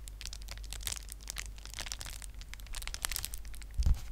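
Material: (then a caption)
Plastic. A flat sheet of clear plastic bubble wrap, held in both hands in front of a microphone, is crinkled and squeezed with fingers and nails. Dense, bright crackling and crinkling runs throughout over a steady low hum, ending in a louder crunch near the end.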